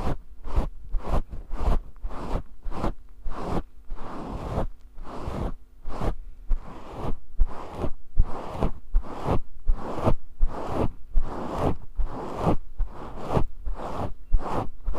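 Fingertips scratch and squeeze a grey synthetic faux fur microphone windscreen held in the hand. Rapid, repeated bursts of close, scratchy rustling swish in and out, each with a heavy low thump and short gaps between. A faint, steady low hum sits underneath.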